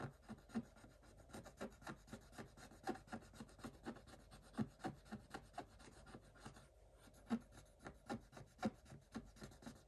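A wooden stick scrapes the black coating off a flat scratch-art page in a spiral notebook, revealing a pink design underneath. Quiet, fine scratching strokes come in a rapid, uneven series of short dry rasps, with a brief pause near the middle.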